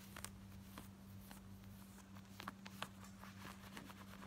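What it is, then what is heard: Denim shorts being scratched. Long nails scratch quickly across worn, light blue distressed denim shorts, working over the pocket, the button area and the frayed front. Short, dry, bright scratches and clicks sit over a quiet, steady low hum.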